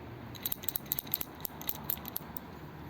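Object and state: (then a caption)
Metal gauge handle with a loose rod inside. The unscrewed hollow metal handle of a bore measuring gauge (comparator) bought at a swap meet is shaken, giving a quick series of short, bright clicking rattles over a faint background hiss. The rattle comes from a longer extension rod stored loose inside the handle, which lets the gauge measure bores up to 6 inches.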